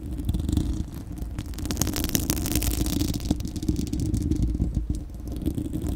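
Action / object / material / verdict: scrape / steel wire-mesh microphone grille / steel mesh / none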